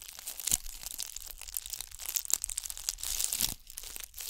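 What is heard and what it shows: Long nails scratch and rub a hand-sized, solid-looking ball covered in bugle beads, close to the mic. The result is a dense, bright, crinkly rattle of tiny clicks and scrapes with almost no low end, punctuated by a few sharper ticks.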